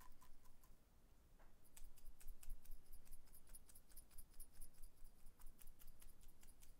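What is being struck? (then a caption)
Small glass jar. Fingertips and nails tap and click on a small amber-brown glass jar with a dark lid, held in the hands, which appears to hold something inside. Faint, soft taps at first give way after a short pause to quicker, sharper bright clicks in an uneven rhythm. The clicks are quiet and short, over a low, steady rumble.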